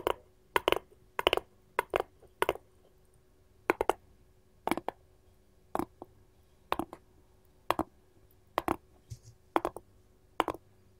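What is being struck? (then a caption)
Wooden cutting board tapped with metal rings. A wooden cutting board is tapped with gold rings worn on the fingers, giving short, sharp clicks. The taps come in small irregular clusters with pauses between them, each click dying away almost at once. The clicks sound bright and hard, with little low end.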